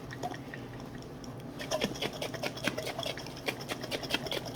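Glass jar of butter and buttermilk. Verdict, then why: Separated. A glass jar holding butter and buttermilk is shaken again after earlier shaking, producing irregular liquid sloshing and knocking after a quieter start. The sloshing shows the liquid buttermilk has separated from the solid butter.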